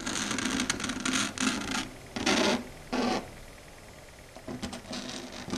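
Long red stiletto nails, with the fingers curled into a claw, scratch and tap across a flat dark grey chalkboard surface. Bursts of bright, raspy scraping are heard with a low, hollow undertone, separated by quieter stretches. Some strokes are loud and sustained, while others break into a quick series of short scratches and clicks.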